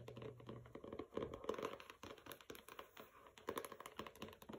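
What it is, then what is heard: Hardcover book tapped with nails. Dense runs of small, crisp clicks with short scratchy strokes between them, mid-pitched and dry with no ring at all. The sound is that of nails on a paper-covered hardcover book; its cardboard boards swallow each tap quickly.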